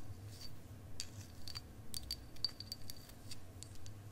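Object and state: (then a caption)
Clear quartz crystal point tapped with nails. A long, solid clear quartz crystal wand, held upright and then horizontally, is tapped with long acrylic nails. Quick, light clicking taps fall at an uneven pace, some carrying a brief, thin, high ring. A steady low rumble runs underneath throughout.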